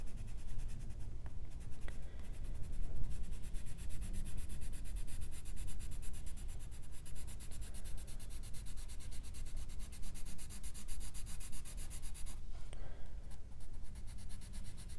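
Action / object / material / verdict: scrape / paper coloring book page rubbed with a colored pencil / paper / none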